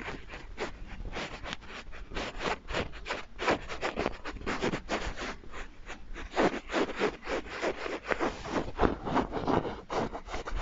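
A small, soft, filled light-blue patterned stuffed fabric bunny is held in both hands close to the microphone and rubbed and scratched with fingertips and nails. The result is a dense, irregular run of soft scratchy rustles in quick uneven bursts, centered in the low-mid range with little brightness, each dying away almost instantly.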